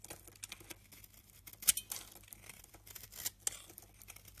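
An orange-handled utility knife scrapes crumbly white flakes off the edge of a hand-held, solid white oval bar of rancid soap. The quiet, dry, bright scraping and crackling comes in irregular bursts, the sharpest near the middle of the clip. Each stroke stops short with no ring.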